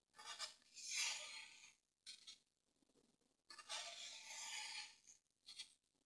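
A green-handled pointed tool scratches and carves diagonal grooves into a solid grey dry floral foam brick held down with fingers. Bright, dry scratching rasps come in uneven bursts, some short and some drawn out, separated by near-silent pauses, with almost no low end.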